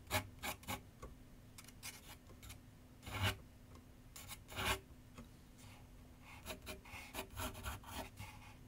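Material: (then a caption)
Paper. A pencil scratches shading strokes across a large white paper sheet mounted on a board on a wooden easel with solid backing. Quick, dry, raspy strokes come in uneven bursts with brief pauses, a few louder and longer than the rest, each a bright scratchy rasp. A faint steady low hum sits underneath throughout.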